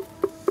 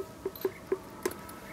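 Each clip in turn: First: Two short, dry taps on black granite, mid-pitched and dying at once: a solid spot. Second: Five light knocks on black granite, each a brief mid-pitched tone near 380 Hz, read as hollow.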